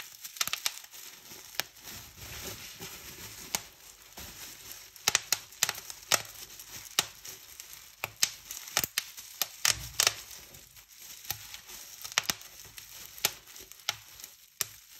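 Fingertips and long painted nails pinch a large clear polyethylene bubble wrap sheet, popping its hollow air-filled bubbles and crinkling the film. Sharp, bright pops snap out at irregular intervals over a steady, hissy crinkling rustle, each pop dying away almost instantly.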